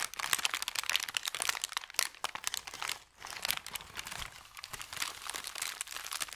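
Fingertips scrunch, rub and press flat an empty, thin brown kraft paper bakery bag, crinkling it. Dense, bright crackles and crunches run almost without pause, with a brief quiet moment around the three-second mark before the crinkling resumes.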